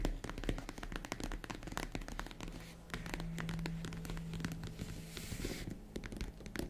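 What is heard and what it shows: Long red-painted nails tap and scratch on the top of a tan, box-shaped, hollow faux leather zippered vanity/jewelry case. The result is a dense run of quick, dry clicks and soft scratching over a low, muffled hollow body with almost no ring, plus a steady low hum underneath.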